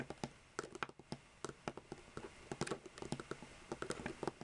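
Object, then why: Row of plastic marker caps. Long painted fingernails of both hands tap and scratch the caps of seven identical hollow plastic Copic alcohol markers lying side by side on a white table. A quick, irregular patter of short, dry plastic clicks follows, each one dying away almost instantly, with bright clicking edges over a faint scratchy hiss between taps. The overall sound is quiet.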